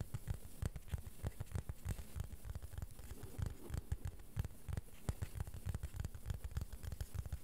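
Fingertips and nails gently tap and scratch the surface of a small, thin, solid, flat beige plastic board held in both hands. The result is a quiet, rapid, irregular patter of short, dull taps with low thuddy bodies, mixed with soft scratching, and each tap dies away almost instantly.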